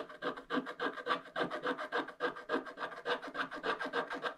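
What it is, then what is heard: Scratch-art paper being scraped. A wooden stylus scratches the black wax coating off a thin scratch-art paper page, leaving flakes on the table. Quick, fairly steady strokes, about three or four a second, make a dry, rasping scratch that sits in the mids and upper mids with almost no low end.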